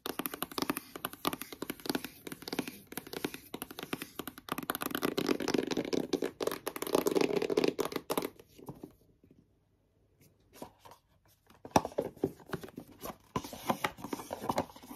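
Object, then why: Cardboard box. Long yellow nails tap and scratch rapidly on a long, hollow white cardboard Apple Watch box held in both hands, making a dense, dry clatter of crisp clicks and rasping scrapes. The sound drops to near silence with a few scattered taps, then the box slides open and the brisk tapping resumes.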